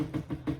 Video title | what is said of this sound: Art Class with Kristie - Go with the slow snail | If you can hear that tapping, that means the paint doesn't really want to come out.